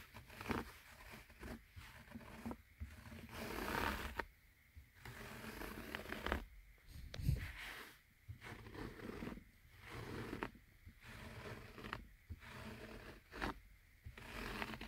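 Short painted fingernails scratch and rub across a padded car armrest covered in beige ribbed cloth upholstery, which is solid and soft. Soft, raspy scratching comes in repeated bursts separated by brief quiet gaps, with a dull low undertone and a few faint taps.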